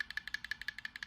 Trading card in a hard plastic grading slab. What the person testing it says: if I shake it it still moves around a little bit